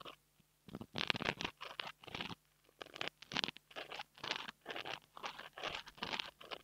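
A long almond-shaped nail scratches and taps the small, soft, porous black foam windscreen on a $2 mini mic held in the fingers. It makes a quick run of close, crisp, bright crunching and scratching bursts with short pauses between them. Each burst has almost no low end and cuts off sharply.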